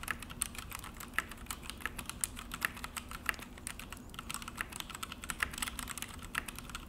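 Both hands type steadily with their fingertips on a full-size Akko mechanical keyboard with an orange plastic case and black plastic HyperX keycaps, resting on a desk. The result is a fast, uneven stream of short, dry plastic clicks and clacks that stop almost instantly. The clicks are centered around 1.7 kHz with a bright edge, and a few keystrokes land noticeably harder than the rest.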